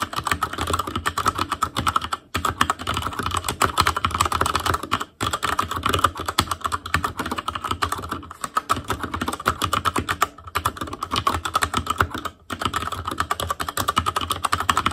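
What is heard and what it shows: Steady two-handed fingertip typing on a black plastic Asus Claymore Core mechanical keyboard produces a dense stream of sharp, short clacks with a bright midrange tone around 1.2 kHz. The typing continues in rapid bursts, broken by brief pauses near 2, 5, 8, 10 and 12 seconds.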